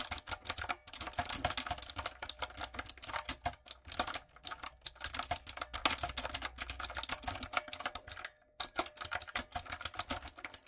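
Fingertips and long nails type on a light-up, typewriter-style retro mechanical keyboard with round plastic keycaps. The result is a rapid stream of bright, sharp clicks and clacks that die away instantly, broken by brief pauses.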